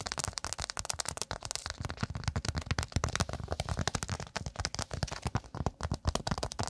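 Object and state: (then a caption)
Cork pot stand. Long acrylic nails rapidly tap and scratch a round, flat, thin solid cork pot stand held close in front of the microphone. The result is a dense, rough stream of dry, crackly clicks and scrapes with a soft low thump under each tap. Each hit dies away almost instantly.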